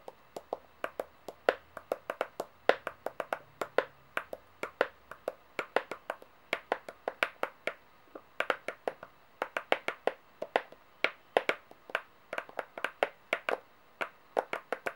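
Long painted nails tap repeatedly on several solid metal coins, US quarters and brass-coloured dollar coins, lying flat on a pale table. The result is a rapid, irregular run of short, crisp clicks with a bright metallic edge. Each click dies away almost instantly.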